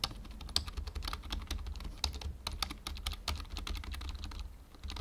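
Fingertips type steadily on the letter keys and numpad of a full-size black plastic membrane keyboard, making a fast run of short, bright clicks and soft clacks. A steady low hum sits underneath the typing.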